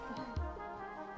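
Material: Nothing is struck.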